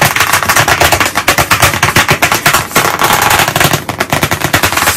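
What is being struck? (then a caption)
Wood-framed chalkboard. Very fast tapping with white chalk sticks held in both hands on a solid, medium, flat black chalkboard panel in a wooden frame. The result is a dense, rapid rattle of sharp, bright clicks with little low end, each dying away quickly, sounding almost like rapid gunfire.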